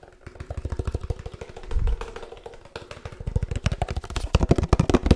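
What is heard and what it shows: A 1-litre laminated paperboard oat milk carton is held close and tapped rapidly with the fingertips, about thirty-four quick hits in an uneven rhythm. The taps are dull, low, hollow thuds with almost no ring, growing louder and denser toward the end.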